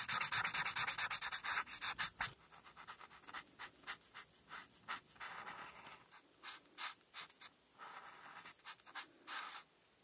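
A felt-tip alcohol marker, held by fingertips with long red-painted nails, rubs and strokes across a flat printed paper coloring page lying on a dark backing board, filling in black areas. Bright, dry scratching comes in a dense, louder run of quick back-and-forth strokes for about two seconds. It then turns into softer, separate swipes at roughly three per second with short quiet gaps between them.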